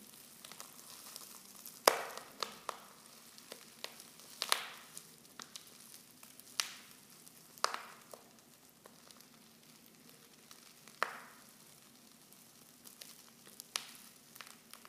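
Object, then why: Foil tea pouch with loose tea leaves. Fingers with long nails crinkle a silver foil Pickwick tea pouch, open at the top and half full of loose tea leaves. Soft, bright rustling is broken by sharp, crisp crackles and snaps scattered through the clip, with a faint steady hum underneath.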